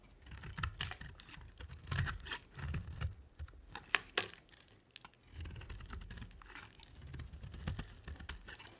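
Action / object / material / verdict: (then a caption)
scrape / bar of soap cut with a blade / soap / none. A box-cutter blade shaves curls from an oval, solid pink bar of dry soap with a dark coated surface, held in the hand. Short, dry scraping cuts repeat with crisp, bright crackle over a soft low rustle, with a few sharper snaps near the middle.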